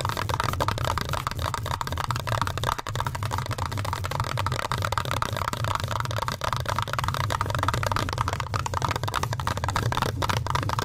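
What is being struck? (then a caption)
Metal mesh microphone grille. Fingertips and nails scratch and tap the black metal mesh grille of a large red Blue Yeti-style USB microphone. The result is a dense, steady crackle of rapid scratches and light taps over a constant low hum around 100 Hz, with a brighter band of grit near 1 kHz.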